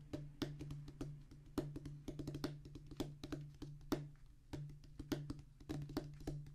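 A flat oval rubber drum practice pad, with a black rubber top on a thick tan cork-like base, lies solid on a wooden table and is drummed rapidly with the fingertips of both hands. Quick, unevenly spaced, dry thuds and taps with sharp, bright attacks die away almost instantly over a steady low hum.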